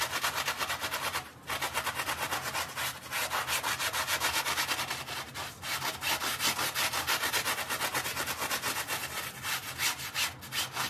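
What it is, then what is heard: Wet fabric mat being scrubbed. A gloved hand scrubs a small, dark, soapy, wet fabric mat lying on tile with a handheld bristle brush. The sound is a fast, steady run of bright, scratchy rasping strokes with a hissy edge and very little low end, briefly dipping around the 1.3-second mark before the scrubbing continues unbroken.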